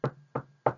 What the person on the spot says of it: 이 책상을 두드리는 소리는 탁탁탁이구나